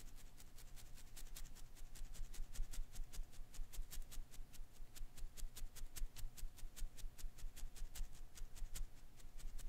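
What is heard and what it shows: A single palm-sized blue and green Koosh ball of thin natural-rubber filaments is held in one hand while a fingertip and thumbnail flick and strum its rubber strands. The result is a quiet, fairly steady run of about three dozen short, dry, bright ticks with very little ring, over a low rumble and a faint steady tone.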